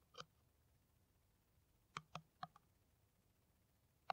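Long nails tap an empty, hollow, clear plastic PET water bottle with a white screw cap, held in the hand. Six short, dry, clicky taps with a hollow mid-range tone and bright edges stop almost instantly. The taps come irregularly: one, a long pause, a quick cluster of four, then a final tap.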